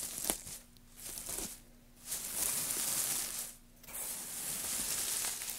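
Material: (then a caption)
Wood. Fingertips of both hands dig into and rustle through a loose pile of thin, light-coloured wood shavings resting on a black surface. The result is a bright, crisp, hissing crackle that comes in bursts separated by short, quieter pauses, with almost no low end.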